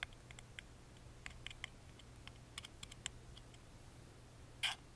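A wooden toothpick rapidly taps and scratches the lattice-engraved side panel of a small, hollow, carved wooden music box held in the hand. Quiet, bright, dry clicks patter irregularly over a faint low hum, each dying away almost at once. A louder, brief scraping burst comes near the end.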